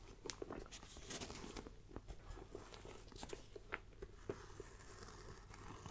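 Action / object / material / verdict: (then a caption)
tap / faux leather backpack / faux leather / none. Long nails tap and scratch across the front panel of a small black pebbled faux leather backpack. Quiet, close crisp taps and crunchy scratching rasps sound in an uneven series over a low, soft rustling bed.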